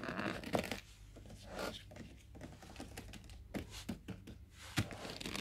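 Fingertips in shiny black rubber-coated gloves tap, scratch and grab the flat sides of a medium-sized "Magere Melk" (skim milk) paperboard carton with a plastic screw cap, lying on a wooden floor and apparently unopened and full. Dry, crinkly scratching and rubbing run throughout, broken by several sharper, dull knocks.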